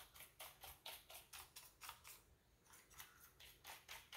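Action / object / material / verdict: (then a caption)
scrape / plastic computer keyboard / plastic / none. Fingertips rub and press across the keycaps of a full-size black plastic keyboard with a hollow body. Fourteen soft, bright brushing strokes sweep by in an uneven rhythm, each with a short, dry tail, and a quieter gap comes near the middle.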